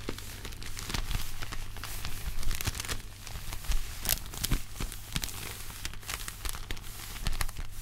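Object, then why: Thin paper popcorn bag. White cotton-gloved hands hold and crumple an empty, thin, hollow red-and-white striped paper popcorn bag. The paper gives a continuous stream of bright crinkles and sharp crackles over a steady low hum.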